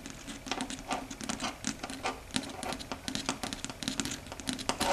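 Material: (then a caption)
Chalkboard. Long red stiletto nails rapidly tap and scratch across a large, flat, dark gray solid chalkboard. Dense, quick, sharp clicks mix with bright, scratchy strokes over a faint, steady low hum. Each tap dies away almost instantly, leaving an irregular, busy patter.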